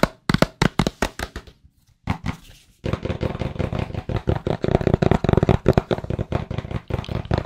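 Fingertips tap and rub the surface of a small, hollow, white cardboard AirPods Pro box. A run of crisp, separate taps with a dull, hollow low body is followed by a brief pause and some scratchy rubbing. The tapping then resumes as a fast, dense patter that continues to the end.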